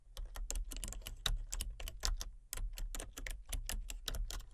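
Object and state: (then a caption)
Plastic computer keyboard being typed on. Fingertips type rapidly on a full-size plastic computer keyboard with a colour-changing backlight. The result is a quick, uneven run of short, crisp key clicks with bright tops over a low thump from each keystroke, each click dying away almost at once.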